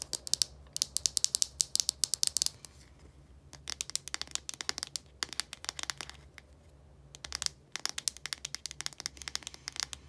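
Long nails tap and scratch the translucent cap and blue body of a small plastic deodorant stick. The result is rapid bursts of sharp, bright clicks with very short decay, in clusters separated by brief quiet gaps over a faint low hum.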